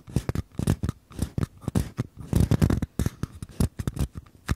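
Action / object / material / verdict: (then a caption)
tap / small paper cups / paper / none. Fingertips tap and scratch the bottoms of two identical small, empty, hollow paper cups held sideways. The result is a rapid, uneven run of short, dry, hollow knocks with a low, papery body and quick scratchy rustles between them. Each sound stops almost at once, with brief silences in between.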